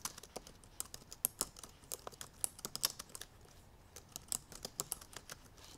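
Long purple nails and fingertips type on the black plastic keys of a silver aluminum MacBook Pro laptop. A quick, uneven run of crisp, bright clicks and taps, each dying away almost instantly, with very little low end. A brief lull near the middle comes before the typing picks up again.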